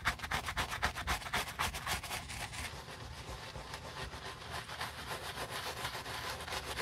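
A bristle brush with a wooden handle scrubs the foamy knit textile upper of a white Adidas Yeezy Boost 350 sneaker near the collar and toe. Quick, rhythmic back-and-forth strokes make a bright, scratchy hiss that starts as distinct swipes and then blends into steadier, softer continuous brushing.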